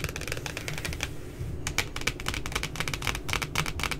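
Long glitter nails tap rapidly on the laminated cardboard puppy cover of a pink spiral notebook lying flat. The result is a quick run of short, dry clicks with a bright tick near 2.3 kHz, briefly pausing after the first second before resuming, over a low, steady rumble.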